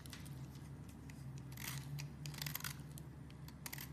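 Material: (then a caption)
Soap. A metal utility-knife blade scrapes across the face of a solid purple branded bar of soap, shaving off thin flakes. Quick, irregular bursts of bright, crisp scraping and crackling sit over a steady low hum.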